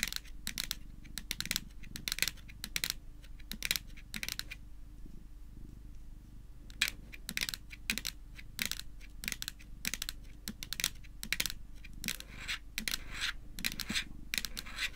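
Long nails tap rapidly on the top of a small, hard-shelled, flat white plastic Hello Kitty power bank lying on a table. Bright, sharp clicks come in quick bursts, pausing for about two seconds in the middle, over a faint steady low hum.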